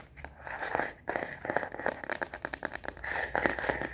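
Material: Plastic.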